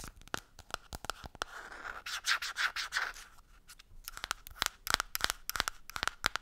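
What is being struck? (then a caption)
Plastic cosmetic jar with lid. Long nails scratch and rub the black lid and label of a green plastic cosmetic jar. Quick, irregular bright clicks and scrapes open and close the clip, around a smoother stretch of rubbing in the middle, with a thin plastic tone near 1.4 kHz and almost no low end.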